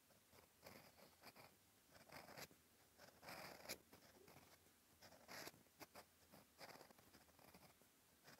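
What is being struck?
Paper notebook page with steel pen nib.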